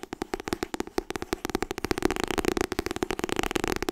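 A solid paperback copy of "Getting Things Done" with a white and blue cover is held in both hands while fingertips and nails tap fast on the cover. The dry, clicky taps have a hollow mid tone and come quicker and denser toward the end.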